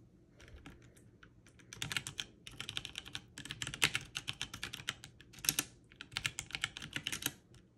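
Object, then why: Mechanical keyboard with plastic keycaps. One hand's long-nailed fingertips press keys on a backlit mechanical keyboard with plastic keycaps at a slower pace. Short, bright clicky taps come in uneven bursts, each dying away almost instantly, with a soft low thump underneath.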